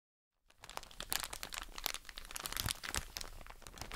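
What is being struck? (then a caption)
Soft plastic bag of cotton wool pads. A soft plastic drawstring bag full of cotton wool pads is crinkled and squeezed with long nails and fingertips. After a brief silence, a steady stream of bright, crackling crinkles begins, with many sharp, quick snaps and a soft, muffled low rustle underneath that keeps going to the end.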